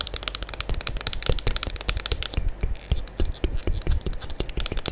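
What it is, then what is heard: Plastic soap pump bottle. Long acrylic nails tap and scratch the front and sides of a full gold Diva plastic liquid soap pump bottle held in both hands. The result is a rapid, dense run of short clicky taps, each with a bright high tick and a low thump, mixed with faint scratching.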